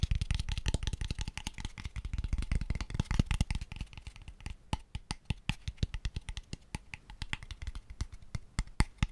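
Fingertips tap rapidly on a small, light-coloured, hollow wooden box, open at the ends, held close to the mic. Dense streams of short, dry, low thuds with very little ring come first; after about four seconds the taps grow sparser and sharper, with brighter clicks between them.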